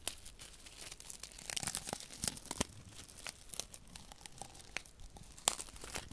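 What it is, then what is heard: Paper silica gel sachet. A small flat paper desiccant sachet filled with silica beads is held in one hand while the fingertips of the other hand rub and scratch it. The result is dry, bright crinkling and scratching with many short crackles and crisp ticks over a faint hiss.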